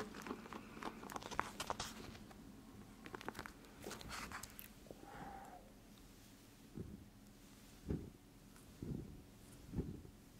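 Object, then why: Plastic eye mask filled with gel beads. Fingertips and nails press and scratch the surface of a clear plastic eye mask full of teal gel beads, held upright so the beads shift inside. The first half is a dense run of crisp, bright scratches and clicks, with a brief squeak near the middle. It then thins out to four soft, separate presses over a quiet background.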